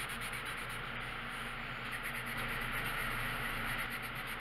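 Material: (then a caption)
Paper. The tip of a green colored pencil rubs across a thin paper page of a coloring book lying flat on a wooden table, coloring in repeated strokes. It makes a steady, dry scratching hiss with a bright, papery texture and a loose back-and-forth rhythm of about three strokes per second, continuing without pause for the whole clip.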